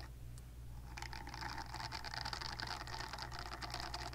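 Long nails scratch the nubbed silicone surface of a silicone facial cleansing brush held in one hand, starting about one second in. The result is a dense run of quick, irregular scratchy strokes with a bright, papery hiss over a steady low hum.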